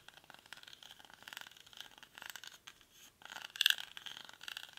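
A hollow cylindrical woven rattan/reed basket, held in both hands, is scratched across its weave with fingernails. Quiet, dry, bright scraping comes in rapid rough strokes, with bands of high rasp and almost no low end, and the scratching swells louder near the end.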